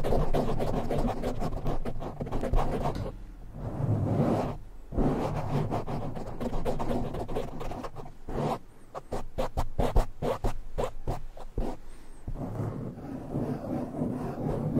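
Both hands scratch fast with short nails and fingertips across a black foam windscreen on a silver microphone. The result is a dense, muffled, low-heavy scratching and rustling with almost no bright edge, broken by brief pauses around 3 and 5 seconds, and it stays steady in level throughout.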